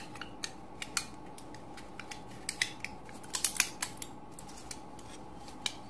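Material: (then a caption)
Foil, plastic. Fingertips and thumbs press and crinkle the foil cavities of a flat, mostly empty aluminium foil-and-plastic pill blister strip held in both hands. The strip has about ten cavities, many already pushed in. Short, bright, crisp crackles and clicks pop out irregularly over a faint steady hiss, with a denser cluster near the middle.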